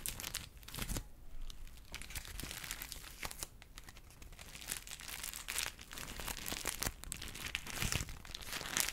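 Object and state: Crumpled paper.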